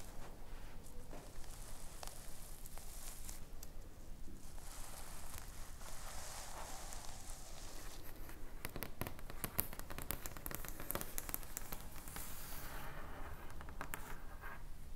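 Long painted nails and fingertips scratch and brush across the purple and pink reversible sequin fabric cover of a flat rectangular notebook lying on a wooden table. The result is a quiet, steady run of soft crackling, rustling scrapes with brief brighter clicks from the sequins over a low, dull rumble.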